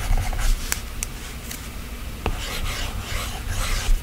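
A plastic stylus tip scratches and taps strokes across the solid glass screen of an iPad. Soft, raspy rubbing strokes come in uneven bursts over a low rumble, broken by a few sharp, bright ticks from the taps.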